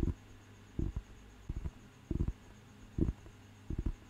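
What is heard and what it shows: Fingertips tap the cover and page edge of a thick, solid paper dictionary book, giving short, dull, low thuds in irregular pairs and small clusters. Each tap dies away almost at once, over a faint steady high hum.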